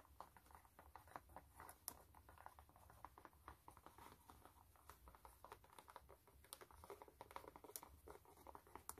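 Fingertips and long nails rub and scratch the canvas upper and rubber side stripe of a hollow, empty white canvas sneaker. The result is a quiet, continuous run of dry scratching and soft pattering taps with short crisp transients and a faint low rumble underneath.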